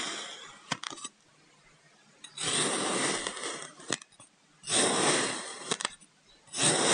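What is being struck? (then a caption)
Kinetic sand block. A white ceramic knife blade slices vertical cuts down through a solid purple kinetic sand brick resting on a wooden table. Each stroke makes a dense, gritty, bright hiss of scraping sand, broken by sharp little clicks and separated by brief quiet pauses.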